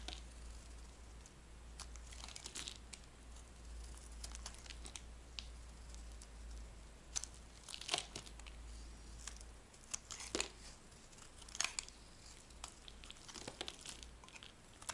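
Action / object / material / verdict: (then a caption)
scrape / soap bar scraped with a metal blade / soap / none. A metal blade scrapes a dry, white, rectangular solid soap bar into thick curls, producing quiet, bright, crisp crunching and crackling strokes. Sharper snaps stand out now and then over a steady low hum.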